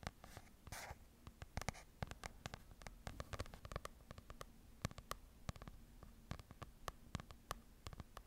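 A small open paper book is held up to the mic while long nails tap and scratch across its printed pages. Quiet, dry, sharp clicks come in a quick, uneven stream, mixed with brief papery scratching rushes over a low background rumble. Each tap dies away almost instantly.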